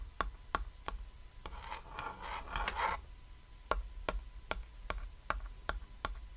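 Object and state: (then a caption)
Small cat-shaped chalkboard. A small, flat, cat-shaped chalkboard, a thin solid board with chalk writing lying on red fabric, is tapped with a fingertip and short nail. Sharp, crisp taps with a short, dry ring come at a steady pace, broken in the middle by about a second and a half of soft, scratchy rustling before the tapping resumes.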